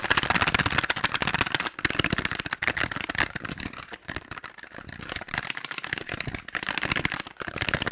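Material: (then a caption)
Cardboard. A small, hollow, purple printed cardboard box is held in the hand and tapped and scratched rapidly with long acrylic nails, possibly with its contents rattling inside. The result is a dense, fast run of crisp, bright clicks and scratchy taps that stop almost instantly, with brief pauses between bursts.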